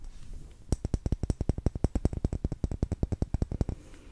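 Long green nails tap the side of a lit, solid pink cylindrical wax pillar candle, making a rapid, slightly uneven run of about thirty short, dry clicks. Each click is crisp and dies away at once, with a soft low thump under it, and a quiet hush fills the moments before and after the tapping.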